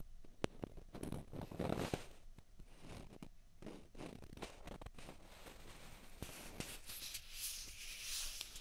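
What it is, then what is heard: Plastic ping pong balls tapped and scratched. One small hollow white plastic ping pong ball is held in each hand and tapped and scratched with the nails. Quiet, sharp clicks alternate with soft, dry scratching and rustling. Toward the end the scraping becomes brighter and hissier.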